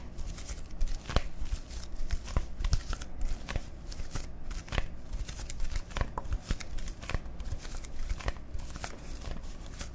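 A hollow, partly filled plastic soda bottle with a dark label is tapped and scratched with fingertips and nails close to the microphones. Sharp, dry clicks and taps punctuate a steady crinkly scratching texture over a constant low hum, with each tap dying away almost instantly.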